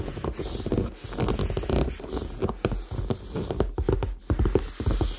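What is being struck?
Faux leather handbag.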